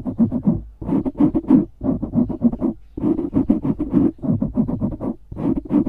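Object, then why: Foam microphone windscreen. Fingernails rapidly scratch the sides of a dark grey foam windscreen on a studio microphone. The result is bursts of quick, dry, muffled rasping strokes, each dropping off fast, with a low-mid body and little high content.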